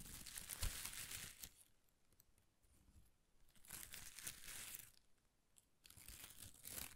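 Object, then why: Shredded thin paper strips. A ball of thin pastel paper shreds is held in one hand while the fingertips of the other hand rub and crinkle the strips. Three bursts of bright, dry crackling and tearing-like rustle come through, with quiet soft rustling between them.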